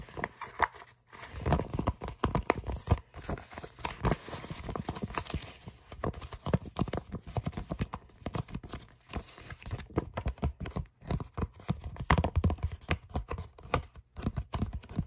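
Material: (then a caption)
Paper. A flat brown kraft paper envelope with tape strips is tapped and scratched with fingertips and short nails. Quick, dense, dry taps and rustling scratches run throughout, mostly low and dull with little high-end hiss and no ringing.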